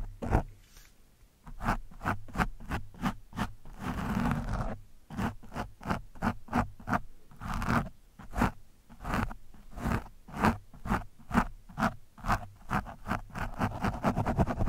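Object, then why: Foam microphone windscreen scratched with a steel screwdriver shaft. The thin steel shaft of a screwdriver scratches and pokes at a soft, porous orange foam windscreen on a microphone. Around thirty quick, dull scraping strokes are heard, each with a heavy, boomy low thud close to the mic and almost no bright edge. A longer rustling scrape sits near the start, and the sounds die away instantly between strokes.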